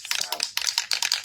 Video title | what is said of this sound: 🎥 Part Two: Adding Foil Flair to the Details! | It has a ball in there. So we call it a rattle can.